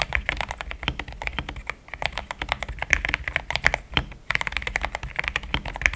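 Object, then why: Mechanical keyboard with plastic keycaps. Fingertips type in steady taps on a pink-framed compact mechanical keyboard with thick cream XDA plastic keycaps, linear switches, a polycarbonate plate and a hollow case. A quick, continuous stream of short, dry clacks comes through, bright and centred around 2 kHz, with a soft low thump under each press and almost no ring after it.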